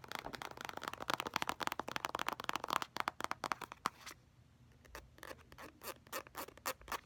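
Fingernails rapidly tap and scratch an orange, soft plastic squeeze tube of face mask that is filled, working over its surface and its crimped end. The first four seconds bring dense, sharp clicks and scratchy rasps centered around 1 kHz. A brief near-silent pause follows, then sparser, bright taps.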